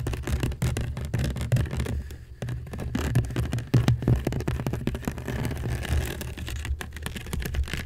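Long nails of both hands quickly scratch a hollow, woven seagrass basket. The result is a dense, rapid run of scratchy, crackling strokes with a heavy, low, boomy body and little brightness.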